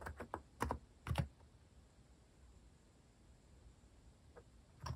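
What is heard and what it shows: Fingertips type on a compact mechanical keyboard with a white plastic case and plastic cat keycaps. A quick, uneven burst of short, low, dull clacks fills the first second and a half, followed by a quiet pause and a couple of softer taps near the end.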